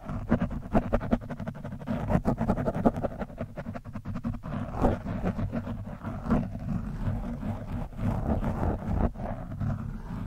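A metal screwdriver tip scratches the top of an orange foam windscreen on a microphone, producing a close, dense, muffled scraping and rustling with a heavy low rumble. Rapid soft clicks and brief swells run throughout, with no bright high end.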